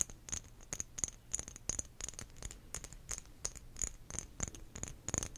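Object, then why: Small textured glass bottle. Long nails tap and scratch across a small, clear glass bottle with a diamond-cut textured surface, which appears empty and has a lid. A quick, uneven run of sharp, bright clicks and scrapes sounds over a faint low hum, each tap glassy and high-pitched but dying away almost instantly.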